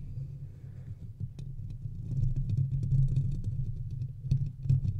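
Fingertips and nails scratch the metal mesh grille of a large silver metal USB condenser microphone on a stand, then move on to its body. A dense, low rumbling scrape fills the clip, with scattered sharp, bright clicks and ticks rising above it, growing louder toward the middle and end.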